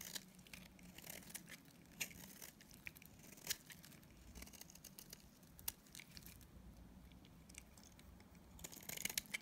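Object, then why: Soap bar scraped with a blade. A utility knife blade scrapes and shaves flakes off a solid, dried yellow Dalan soap bar held in the hand. Quiet, bright, crisp scratching and crumbly crackles run throughout, with sharp clicks standing out and a denser burst of shaving near the end.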